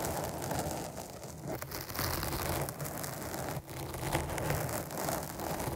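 Long nails scratch the top and side of a black foam windscreen on a microphone. A steady, dense crackling rustle with a heavy low rumble runs throughout, with a brief drop in level partway through before the scratching resumes.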